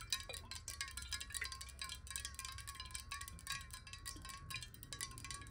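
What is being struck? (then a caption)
Glass bottle with water. Long nails tap rapidly and continuously on the side of a clear square glass bottle filled with water, held horizontally above a table. The quick taps blend into a bright, chime-like ringing, with a steady wavering tone near 1 kHz over a faint low rumble.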